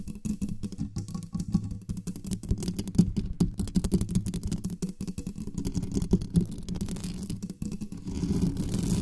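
Long nails rapidly tap and scratch the sides of a black studio microphone's metal body. The result is a dense, continuous run of quick, dry scratches and taps, heavy in the low end with a steady low hum, and each stroke dies away almost instantly.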